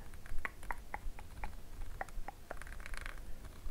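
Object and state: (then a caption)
Plastic squeeze tube. A small green plastic cosmetic squeeze tube, hollow and filled with product, is held in both hands and scratched and tapped with long acrylic nails. The result is a run of quiet, light, clicky taps mixed with soft scratching over a low background rumble.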